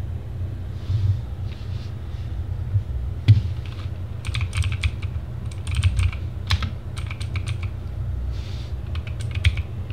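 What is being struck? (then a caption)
Plastic mechanical keyboard. Both hands type with their fingertips on a compact RGB-backlit TGT Sherman Mini mechanical gaming keyboard, with plastic keycaps on a plastic case, resting on a wooden desk. Bursts of sharp, bright plastic key clacks come in quick, irregular runs. A steady low hum sits underneath throughout.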